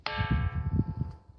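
A large granite boulder known as the "bell stone" is struck and gives a clear, metallic bell-like ring whose bright, stacked tones fade slowly over about a second. A low, rumbling undertone runs beneath it. The rock's ring is said to change depending on the spot that is hit, and part of it was blown up years ago.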